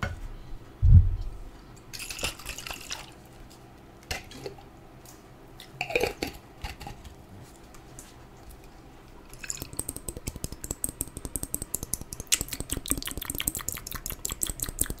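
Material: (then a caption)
Glass. A small clear glass jar with a metal lid, partly filled with water, is held in the hand and tapped with long acrylic nails. A low thump opens the clip, followed by scattered light taps and drip-like watery sounds. From about halfway through, the tapping turns into a fast, steady run of bright, short clicks.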